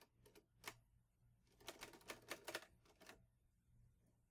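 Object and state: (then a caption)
Metal manual typewriter being typed on. Fingertips type on the keys of a green metal portable manual typewriter, an Olivetti Lettera 22. Sharp, bright, short clacks come a few at a time, then in a quicker cluster in the middle, over a faint steady low hum. Each strike dies away almost instantly.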